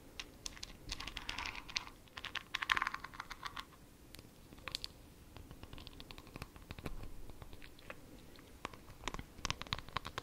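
Long nails scratch and tap a small, full, glittery glass jar with a white plastic lid, held close to the mic. Bursts of dry, bright scratching alternate with quick, crisp taps and clicks that stop dead with no ring. The texture is busy and uneven, with the densest scratching in the first few seconds.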